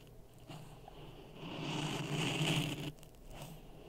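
A wooden stick pokes and stirs dry sand in a clear plastic cup resting on a red microphone. A low, grainy scraping crunch builds to its loudest in the middle, with a bright hiss on top, then cuts off abruptly. Softer rustling follows at the end.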